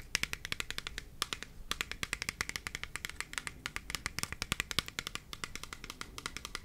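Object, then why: Plastic spray bottle with liquid. A hand-sized, hollow clear plastic spray bottle with a black trigger head, holding liquid, is held close to the mic and tapped on its body with fingernails and fingertips. Dozens of quick, crisp, bright clicks and taps follow in a steady, uneven patter, each dying away almost instantly over a faint low background.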